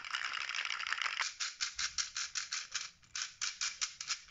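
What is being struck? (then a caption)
Small hollow plastic puzzle ball with loose plastic beads inside. A small, hollow red plastic puzzle ball with loose colored plastic beads inside is held in the hand and twisted and shaken with the fingertips. The beads rattle in a bright, dry, high-pitched clatter with almost no low end. A continuous rattle gives way to a series of quick, separate shakes.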